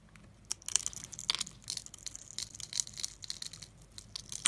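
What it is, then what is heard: Bar of soap being scraped. A metal blade scrapes small cubes off a solid yellow soap bar with embossed lettering, pre-scored in a grid and held in hand, letting them pile up. The result is a quiet, rapid series of dry, crisp crackling and crunching scrapes, bright and high with almost no low end.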